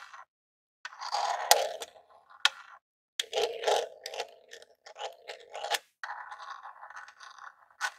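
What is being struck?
Small hollow plastic game console.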